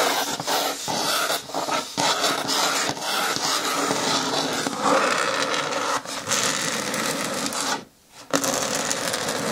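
Long nails rub and scratch along the top rim edge of a green hard plastic bin with a lid, making a steady, bright, rasping scrape with little low end. The scratching runs almost continuously, with short dips and a brief near-silent pause just before the end before it resumes.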